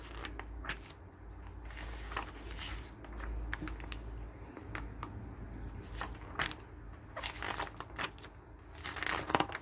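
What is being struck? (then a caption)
Glossy paper catalog pages. Fingers turn the thin pages of a glossy paper garden catalog one after another as it rests on a wooden table. Each flip makes a short, crisp rustle and crinkle with bright, papery edges. A steady low hum sits underneath throughout.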